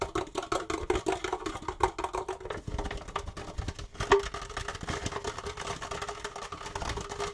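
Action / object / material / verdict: tap / plastic disposable cup / plastic / none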